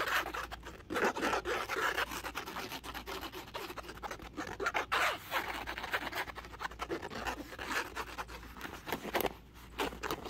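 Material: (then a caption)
Woven fabric. Fingertips and nails scratch and rub across a flat, dark grey woven polyester or canvas laptop sleeve, working over the textured fabric and along its seam. The result is a dense run of dry, raspy scratching and rubbing strokes with no ringing. It is mostly midrange with some high hiss and brief pauses between bursts.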